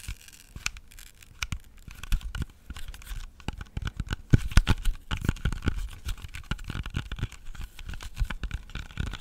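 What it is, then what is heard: Apple tapped and scratched with fingernails. Fingernails tap and scratch a solid, whole red-yellow apple as it is rotated in the hands. The result is a dense run of short, dull, low thuds and dry scratching with almost no ring, growing busier and louder after the midpoint.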